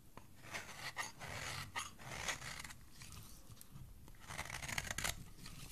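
A solid cream soap bar held in the hand is shaved with a metal utility blade, peeling off thin curls. Quiet, crisp scraping and crunching strokes with bright, hissy texture come in uneven bursts, with short dry pauses between them.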